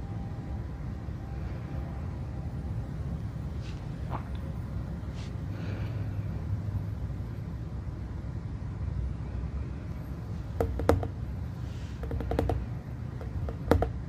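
A glowing, hollow glass plasma globe about 15 cm across sits on a base in the dark while both hands touch it and fingertips tap the glass surface. A steady low electrical hum from the globe runs throughout, with brief bright, sharp taps on the glass clustering toward the end.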